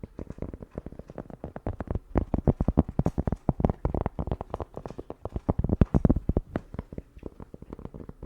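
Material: Cork.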